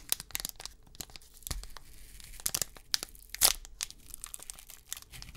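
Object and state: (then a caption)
Foil trading card pack. Fingertips crinkle and tear open the metallized plastic foil wrapper of a 2022 Select UFC trading card pack, held close in both hands. Quick, bright crackles and crisp rips repeat over a faint background, with one louder tearing burst just before the end.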